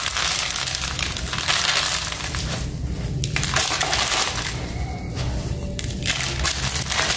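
Fingertips press into, rub and crush small gritty chunks in a large pile of dry grey sand-cement powder on a concrete floor. A steady, dense crunching and crumbling with bright gritty hiss and a low rumble underneath continues throughout.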